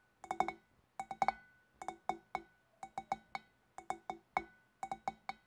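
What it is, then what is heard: Glass fish bowl. Long black nails tap with both hands on the shoulders of a large, hollow, empty clear glass fish bowl. They make six quick bursts of light clinking taps, each a short, bright ring centered near 780 Hz that fades almost at once.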